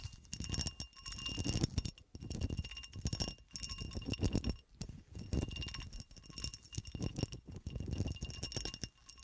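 Fingernails scratch and tap the ridged surface of a solid cut glass horseshoe standing on a table and held at one end. Quick, dense bursts of scraping and clicking come in short spells separated by brief pauses, heavy in the low end with thin, bright glassy tones ringing through.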